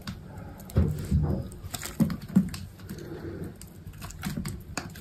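A small metal blade with an orange handle slices thin curls off a solid, cream-colored bar of soap that is already partly carved and held in one hand. Soft, dull scraping and crisp cutting sounds come at an uneven pace, mostly low and muffled, with a few sharper, louder cuts standing out.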